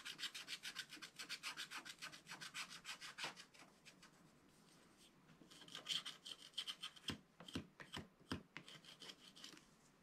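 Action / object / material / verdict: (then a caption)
scrape / black-coated scratch art card scraped with a wooden stylus / coated paper / none. A wooden stylus scratches grass strokes along the bottom edge of a flat black-coated scratch art card, making quick, rhythmic, bright scratching strokes with a thin scratchy tone around 3 kHz. The strokes fade into a soft, quiet rub partway through, then resume more unevenly, with a few sharper, louder ticks near the end.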